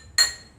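A drinking glass partly filled with water, one of four glasses holding different levels of liquid, is tapped once. It gives a single bright, high clink with a clear ringing pitch that fades quickly.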